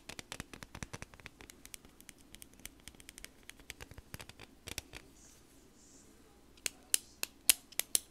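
Long nails tap and scratch along a slim, hollow green plastic highlighter or pen, with its cap end in view. Rapid, light, bright clicks run for about five seconds, then a short quiet pause. A few louder, sharper taps follow near the end.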